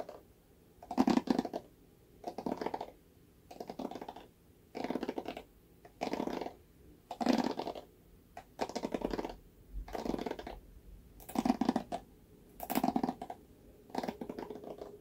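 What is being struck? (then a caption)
Plastic paddle hairbrush bristles. Fingertips strum and scratch the bristles of a red plastic paddle hairbrush held by its handle. Short, dry, scratchy bursts repeat about once a second with quiet gaps between them. Each burst is a rapid rattle of tiny bristle clicks, centered in the low mids with a bright, airy edge.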